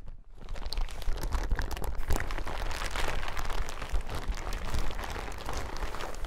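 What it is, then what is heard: Plastic suit being crinkled. A yellow plastic hazmat suit lying on a table is scratched with fingertips, then lifted and crinkled. A dense, continuous crackling and crinkling rises quickly after a brief quiet start and holds steady, with a heavy low rumble under the bright plastic rustle.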